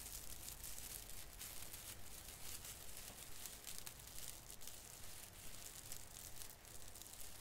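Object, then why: Plastic artificial fir branch with plastic needles. Fingers grip and crinkle the drooping branch end of a small artificial fir tree with plastic needles. A steady, bright crinkling and rustling rises and falls in quick, uneven bursts over a low, constant rumble.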